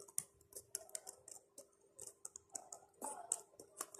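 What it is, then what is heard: Plastic laptop keyboard. Fingertips and nails rapidly tap and press the black plastic numeric keypad keys of a plastic laptop keyboard. About twenty quiet, bright, dry clicks come in an uneven rhythm over a faint steady low hum.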